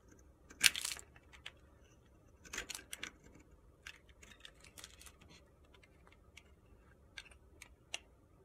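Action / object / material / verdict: scrape / bar of soap scraped by a knife blade / soap / none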